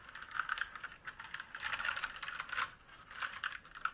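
Fingertips of both hands type on a black mechanical keyboard with plastic keycaps and a metal top plate, resting on a wooden desk. Quick, clicky keystrokes come in uneven bursts with a brief lull near the end. Each strike is sharp and bright with almost no low end and dies away almost instantly.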